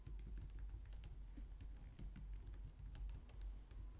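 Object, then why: Plastic computer keyboard. A low-profile white/light-grey plastic wireless keyboard resting on a glitter mat on a wooden desk is typed on with long painted nails and fingertips. A steady run of quick, soft tapping clicks with bright ticks on top of a low thud comes through, each tap dying away almost at once.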